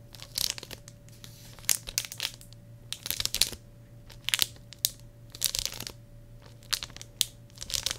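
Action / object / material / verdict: scrape / plastic shrink wrap on a hardcover journal / plastic film / none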